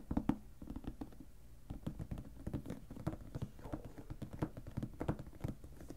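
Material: Plastic.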